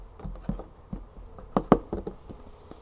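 Long fingernails tap a series of quick, dull, dry taps on the label and side of a large 3-liter plastic olive oil jug full of oil. The taps have a low, muffled thud and stop almost instantly, with the loudest pair falling near the middle.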